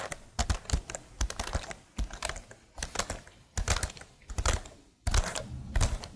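A plastic laptop keyboard is held above the microphone while fingernails tap and type on its keycaps. Quick, dry clicks come in irregular bursts, each with a bright tick over a soft low thump, and they die away almost instantly between clusters.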